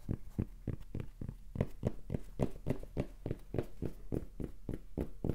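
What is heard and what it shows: A red cotton baseball cap with a printed "Rapala" logo and a soft, hollow crown is held in the hand and tapped and scratched on its front panel with the fingertips. About twenty quick, soft, muffled taps come at a fast, slightly uneven pace, each a dull low thump with a brief scratchy edge that dies away almost at once.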